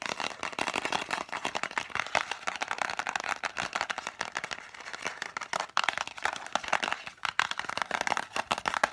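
Long nails tap and scratch very fast on a small, hollow green and white cardboard lozenge box held upright. The result is a dense, dry patter of crisp, papery clicks and scrapes centered in the midrange with a bright edge, no low end, and no ring after each stroke.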